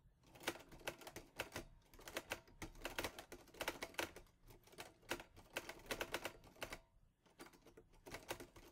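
Fingertips type on the keys of a mint-green Olivetti Lettera 22 portable typewriter with a metal body and paper loaded. Bursts of sharp, bright metallic clacks come in quick runs separated by brief pauses. Each strike dies away almost instantly, with little low end.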